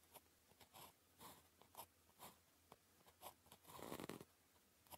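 A blue plastic ballpoint pen, held by the fingertips, writes Chinese characters on a thin sheet of red-grid calligraphy paper lying flat on a desk. Quiet, bright, dry scratching strokes come in short separate bursts, ending in a longer, fuller scrape near the end.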